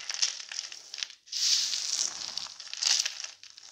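Bare hands scoop, squeeze and crumble a large loose heap of small, broken, pastel-coloured soap shards dusted with starch powder on a white table. The result is a dry, bright crunching and crinkling with almost no low end: a short crackly stretch, a brief near-silent pause, then a longer, louder grinding crumble that swells again near the end before fading.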